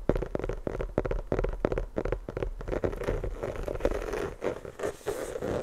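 Long fingernails scratch a full-size, inflated, hollow rubber basketball held right against the mic. The result is a quick series of dry, raspy strokes with a hollow low-mid tone. They start as distinct swipes and blur into a steadier, continuous scratching toward the end.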